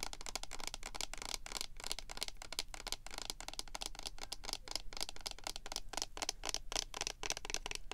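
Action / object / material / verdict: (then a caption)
tap / plastic lotion pump bottle / plastic / none. Long painted nails and fingertips rapidly tap and scratch along the labeled sides of a medium cylindrical plastic lotion pump bottle with a white and holographic pink label, hollow and with contents not visible, while the hands hold and turn it. The result is a dense, continuous stream of short, dry clicks and scratchy rustles with a bright, high edge and almost no ring.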